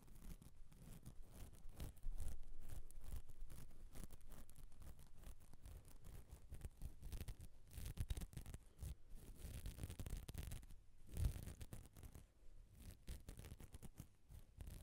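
Fingertips and nails rapidly tap and scratch the body and grille of a black metal USB condenser microphone on a stand. The result is a dense, irregular patter of dull, bass-heavy thumps and scrapes with no ring. It jumps louder at about two seconds and peaks briefly again near eleven seconds.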